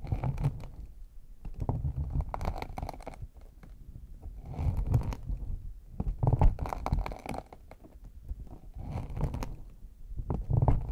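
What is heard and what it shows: Fingertips and nails tap and scratch the top of a small, hollow, brown faux leather hard case with a chocolate-bar embossed lid. Soft, muffled, low thumps mix with dry scratchy rustling in uneven bursts that rise and fall. There is no ring after each touch.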